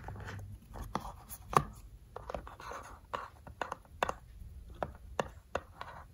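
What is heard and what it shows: Fingertips and short nails tap and scratch on the closed lid of a small, rectangular, hollow decorative tin box with a cat and floral print, resting on a table. About 13 short, dry metallic taps with a midrange ring near 1.1 kHz stand out, with soft scratching and rubbing between them. Each tap dies away almost instantly.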